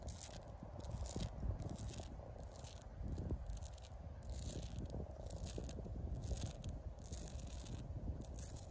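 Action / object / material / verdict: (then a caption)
scrape / tree trunk bark / bark / none. Long pink acrylic nails scratch and rub across the ridges of rough bark on a solid tree trunk. Repeated bursts of dry, bright scraping rise and fall over a steady low rumble. The level stays fairly even throughout.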